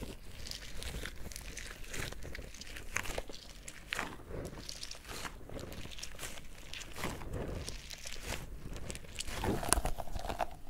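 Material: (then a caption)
Rubber. A small yellow pineapple-shaped squishy stress ball with a green leaf top, its stretchy rubber skin filled with gel beads, is squeezed with fingers and thumbs. It makes a steady, irregular stream of soft crunchy, crinkling squelches, with bright bead-like crackles over a low muffled body. A few louder squeezes stand out near the end.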